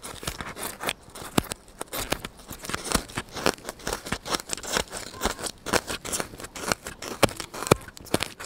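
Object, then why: Styrofoam block. A solid white styrofoam block held close to the microphone is poked and scratched with fingers and a needle. It gives a dense, irregular run of short, squeaky, snipping-like crunches and crackles with bright edges. Each crunch stops almost instantly with no ring.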